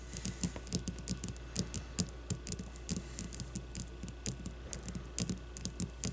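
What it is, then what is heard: Leather baseball. Long blue-painted nails tap quickly and irregularly on a solid leather baseball resting on a wooden table. Each tap is a short, dry click with a bright edge and a soft low thud, over a steady low hum.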